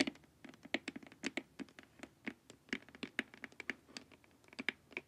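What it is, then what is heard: Hollow plastic face mask tapped with nails. Long nails tap quickly on the sides of a glossy, hollow plastic LED face mask, giving a run of about twenty quiet, dry clicks. Each tap is short and bright with a light hollow knock and almost no ring, at an uneven, typing-like pace.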